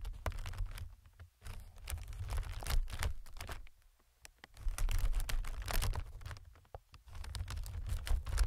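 A single fingertip taps on a clear, inflated, multi-chamber plastic film air pillow. It makes quick, irregular, crisp ticks and soft crinkles with brief pauses, over a steady low rumble.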